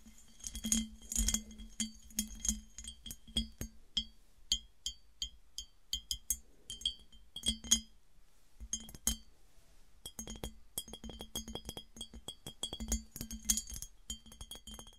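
Fingernails tap on a smooth glass piggy bank, producing many quick, clear glass clinks with a bright, high ring that dies away almost instantly. The taps come in irregular bursts with a brief pause near the middle.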